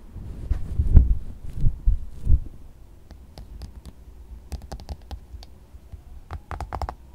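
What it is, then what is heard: Soft silicone squishy toy. A pink soft silicone squishy dog toy resting on white fabric is tapped with fingertips and nails, then squeezed by hand. Deep, muffled squishing thumps come first, followed by a scattered series of sharp, bright clicking taps that stop almost instantly.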